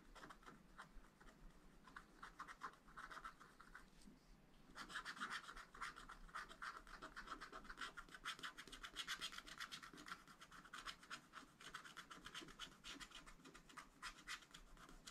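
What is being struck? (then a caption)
Wax-coated scratch art paper scraped with a wooden stylus. A wooden stylus scratches repeated short strokes into the tree crown on a black wax-coated scratch art sheet in a flat spiral pad. Quiet, dry, bright rasping scratches come in quick, uneven bursts, with a brief lull around the fourth second. The scratching then returns denser and brighter through to the end.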